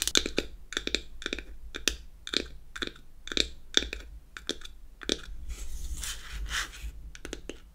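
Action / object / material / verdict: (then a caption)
tap / closed beech-wood powder compact / wood / none. Long acrylic nails tap the top of a closed, hollow, square unfinished beech-wood powder compact in quick, irregular bursts. Each tap is a dry, bright click centered around 3.5 kHz that dies away almost instantly. Near the end, a softer scratching texture blends in, with a faint low hum underneath throughout.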